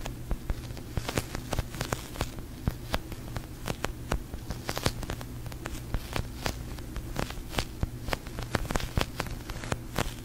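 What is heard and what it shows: A large, soft, yellow-green slow-rising sticky polyurethane foam squishy is held in both hands with long painted nails and squeezed, tapped and scratched in front of a fluffy mic cover. Quick, sharp sticky clicks and taps crackle irregularly throughout over a steady low hum, each snapping off almost instantly.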